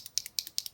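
A bottle of dip-and-draw liquid eyeliner is shaken before use to mix it up. Seven quick, bright rattling clicks sit almost entirely in the high frequencies, each cutting off instantly with no low end.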